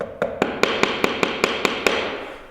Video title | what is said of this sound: Pisos en el chalet 🔨🚧 - de la alegría al desastre en 48 horas - Instalación, Errores y Soluciones | está hueco O sea no hay pegamento debajo no hay suficiente Así que el porcelanato Está bailando no está pegado